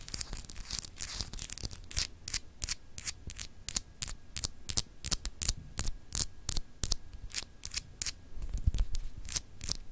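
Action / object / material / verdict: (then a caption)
scrape / solid clear glass globe paperweight / glass / none. Long acrylic nails scratch and rub across a small, solid, clear etched glass globe paperweight in a rapid, uneven series of short strokes. Each stroke is a dry, bright, hissy scrape, with denser rubbing at the start and a faint low hum underneath.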